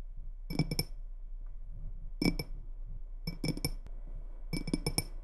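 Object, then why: Glass tumbler partly filled with water. Long red-painted nails tap and scratch the sides of a small faceted clear glass tumbler, partly filled with water, held in both hands over a wooden table. Four bursts of quick, bright clicking taps ring briefly with a glassy chime, with soft scratching and low handling noise between them.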